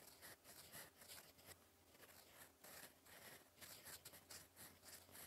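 A gold metal fountain pen nib, held in the fingers, scratches across a flat sheet of cream lined paper on a desk while writing cursive. Quiet, bright, scratchy strokes rise and fall in quick bursts with a soft hiss between them.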